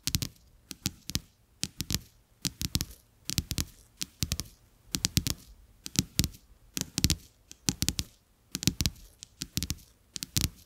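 Fingertips and nails scratch and tap two thin, solid, flat coated-paper playing cards with a checked back, lying on a carpet. Quick clusters of dry taps and scratchy crackles repeat steadily, each with a soft low thump and a bright papery edge. Every tap dies away instantly with no ring.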